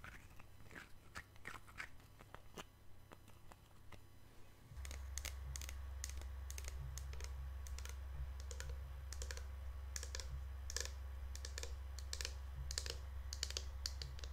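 A hand-sized, likely full pink plastic Lush Snow Fairy shower gel bottle is held in the hands and tapped and scratched with long nails. Bright, dry clicks and scratchy ticks come in a loose, uneven patter of about two per second. A steady low hum beneath them grows louder at about 4.7 seconds.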